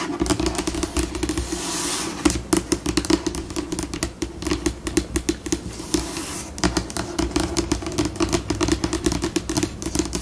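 Long pink nail tips tap, scratch and scurry across a glossy white laminated tabletop. Quick, dry clicks with a hollow resonance around 300 Hz come in bursts, alternating with smoother scratching passages that brighten the upper range. The pace shifts between slower and faster.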